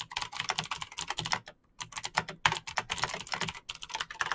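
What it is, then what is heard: Plastic mechanical keyboard. Fingertips type fast on a Razer BlackWidow backlit plastic mechanical keyboard with clicky green switches, producing a rapid stream of sharp, bright clicking taps with very short decay. The typing pauses briefly about a third of the way in, then resumes at the same quick pace.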